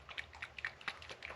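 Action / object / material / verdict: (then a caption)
shake / small bottle of liquid oil / oil / thin. A bottle of thin, watery hair growth oil is shaken, producing a quick series of light, bright sloshing splashes. The liquid sloshes freely, showing it is thin rather than thick like beard oil.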